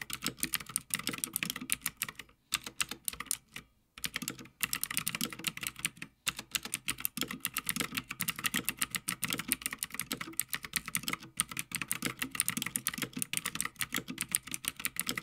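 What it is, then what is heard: Mechanical keyboard being typed on. Both hands type continuously on a full-size backlit Havit mechanical gaming keyboard with plastic keycaps on a metal top plate. The clicks are rapid, dry and bright, with short pauses near 2.4, 3.8 and 6.2 seconds.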